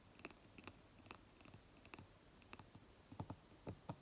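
Long fingernails tap and scratch the lid top and ribbed upper rim of a small round glass candle jar with green wax, its lid on, standing on a table. A series of quiet, sharp clicking taps is heard, spaced irregularly over faint scratching, with slightly heavier, fuller taps toward the end.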